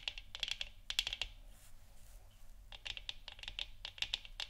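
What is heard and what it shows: Fingers and long nails tap the sides of a hollow plastic moon lamp sphere resting on a wooden stand. Two clusters of quick, bright, clicky taps, each dying away almost at once, are separated by a short quieter stretch of faint scratching. The result sounds light and hollow, much like fast typing on a keyboard.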